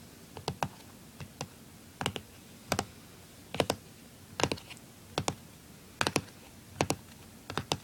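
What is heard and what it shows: Fingertips and nails tap and scratch the lid of a closed, small, hollow blue plastic Nintendo DS-style handheld console lying on a wooden table. Quick, bright clicking taps come in short pairs and clusters at a steady pace. Each tap dies away almost instantly over a faint, quiet hiss.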